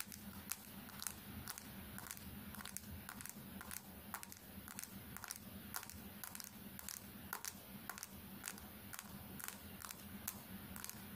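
A small smartphone with a glass screen is held horizontally in both hands while the long painted fingernails of both hands tap rapidly on the screen. The result is a quick, steady stream of sharp, bright clicks with almost no ring, over a quiet, constant low hum.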